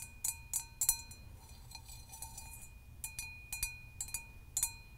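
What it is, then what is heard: Hammered copper mug tapped with nails. Long nails tap and lightly scratch the dimpled surface of a hollow, empty hammered copper mug held in both hands. The result is a series of bright, high, metallic clinks with short rings, separated by soft scratching over a quiet low background rumble.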